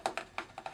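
Five quick taps on the large plastic front skid plate of an RC4WD Desert Runner ARTR scale Ford Raptor RC truck. Each tap gives a short, hollow, woody-sounding click with a midrange tone near 740 Hz that dies away almost at once.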